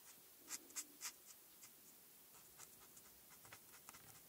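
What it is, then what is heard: Marker strokes on a paper coloring sheet. A marker tip rubs across a flat printed paper coloring sheet in short strokes, coloring in black stripes, held by a hand with long red nails. Quiet, bright, scratchy swipes are heard, with five louder strokes standing out early on, followed by softer, irregular rubbing.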